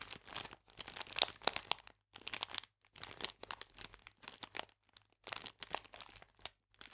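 A clear plastic bag full of biscuits is squeezed and rotated in the hands, giving off bright, dry crinkling and crackling. The sound comes in short bursts separated by brief silent gaps, and it stays quiet with almost no low end.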